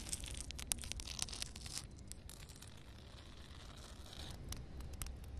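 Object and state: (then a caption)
Wet concrete surface. Long red nails scratch and rub across solid, flat concrete ground covered with water. Bright, gritty rasps and short scraping bursts crackle over a steady low rumble, busiest in the first two seconds, then thinning to a quieter hiss before a few sharper scratches near the end.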